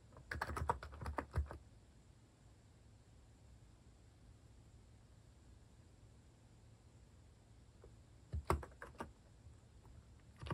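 A compact white-case Hanmumu mechanical keyboard with cream and orange cat-themed plastic keycaps sits on a wooden desk and is typed on with the fingertips. Two short bursts of rapid, deep, thocky key taps come at the start and again near the end, with a quiet stretch of near silence between them. Each tap is short and dry, with little ring.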